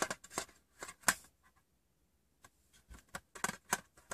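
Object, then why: Small metal tin. Fingers with short painted nails tap the rim and the inside of a small, hollow, rectangular metal Wrigley's chewing gum tin with its lid open. The result is quick, bright, clicky taps with a thin metallic tone that dies almost at once, and a near-silent gap in the middle of the clip.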